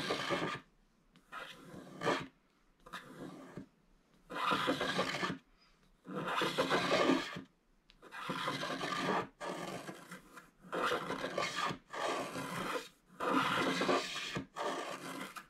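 A wooden stylus scrapes the black wax coating off a flat scratch-art card of gold foil paper in a series of separate rasping strokes, with coating debris collecting around the card. Each dry, gritty stroke spans broadband scratching noise with a slightly bright edge, separated by short quiet pauses.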